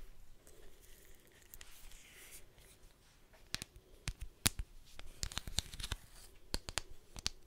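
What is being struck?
Leather belt with metal buckle.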